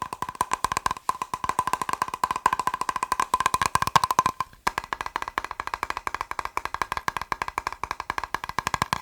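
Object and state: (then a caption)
Plastic box. A plastic box is tapped rapidly with fingers, producing a steady stream of short, dry, clicky taps with a hollow ring around 1 kHz. The taps come in quick bursts with a brief pause just before the midpoint, then continue at the same fast pace.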